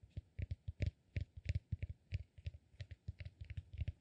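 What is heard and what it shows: Fingernails scratch and tap the top of a solid, peanut-shaped cork massage ball held in the other hand. The result is a quick, uneven run of soft, dull, low taps with a light bright click on each, every one dying away almost at once.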